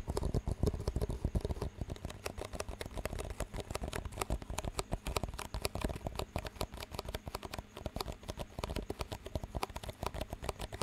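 Fingertips rapidly tap the walls of two identical clear disposable plastic cups with green rims, hollow and empty, and knock their rims together. The result is a dense, steady stream of short, dull, low-pitched clicks and knocks that die away almost instantly, with little bright content.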